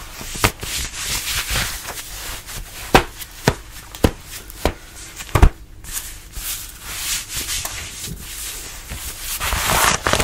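Fingertips rub and scratch a fitted denim dress being worn, working over the fabric at the waist and sides. A steady, bright, papery rubbing runs throughout, broken by several sharp, short scratches.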